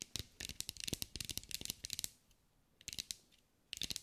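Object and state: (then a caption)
Glass mosaic ball. Long acrylic nails tap and scratch a green mirror and glass mosaic sphere held in the hands, producing quick, bright, high clicks with almost no ring. A dense run of taps fills the first two seconds, then two shorter bursts follow after a brief quiet gap.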